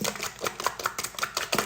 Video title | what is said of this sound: How to: Crunchi's I am Renewed Purifying Mask | shake it so you can hear it it's a it's liquidy more liquidy than like I said a clay mask